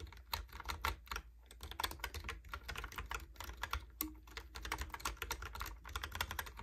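Fingertips type rapidly on a Logitech keyboard with round plastic keycaps, producing a dense stream of short, bright plastic clicks and clacks that stop almost instantly. A steady low hum sits underneath the whole clip.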